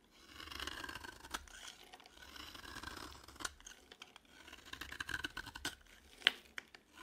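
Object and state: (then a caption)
Dry bar of soap. A utility knife blade carves and scrapes the surface of a cream, palm-sized dry bar of solid soap, piling up flakes. Soft, bright rasping scrapes run throughout, broken by crisp clicks, with a sharp snap near the end.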